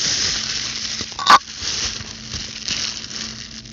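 A large sheet of clear plastic bubble wrap, held up in both hands, has its air bubbles squeezed, scratched and popped with very long, pointed blue acrylic nails. A steady, bright crinkling and scratching hiss runs throughout, broken partway through by one sharp, louder pop.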